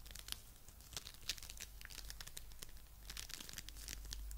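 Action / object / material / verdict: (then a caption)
scrape / foam bead clay / polystyrene beads / none. A fist-sized lump of coral-pink foam bead clay is squeezed between both hands and fingertips. It gives a quiet, dense run of bright crackling and crinkling pops over a steady low hum, with short sharp snaps standing out throughout.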